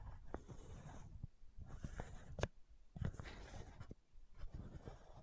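Long nails scratch the white plastic cap of a supplement bottle, making quiet, dry scraping strokes broken by a few sharper clicks. The sound is soft and low-heavy with short pauses between strokes.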